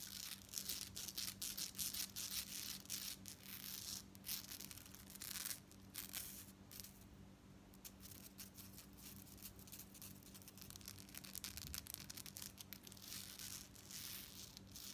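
Long nails scratch and tap a long necklace of small gold-tone metal beads strung on dark cord with a metal chain fringe, and the fringe is lifted and jiggled. Quick, bright clicking and rattling runs throughout at a low level over a steady low hum, easing briefly a little past the midpoint before picking back up.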